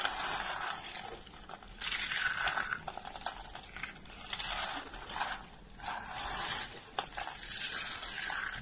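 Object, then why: Rolled soap curls. A pile of hollow, rolled orange and yellow dry soap curls is pressed and crushed with both hands. Dense, bright crunching and crackling comes in repeated waves, with scratchy rustles between the harder presses.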